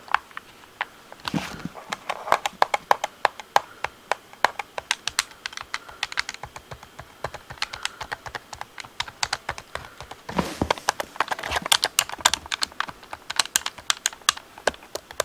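Fingertips tap and click the face buttons and sticks of a hollow, handheld black plastic Xbox controller. The result is a rapid, steady stream of sharp, dry clicks that are bright and light, with almost no low end and no ring. Two brief denser bursts stand out near the start and about two-thirds of the way through.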